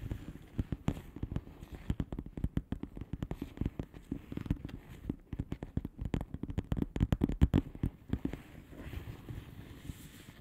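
Long polished fingernails tap and scratch rapidly on a flat blue plastic bubble wrap envelope. The result is a dense stream of short, dry, crackly clicks with a low, thumpy body and quick irregular rhythm, easing into softer scratching near the end.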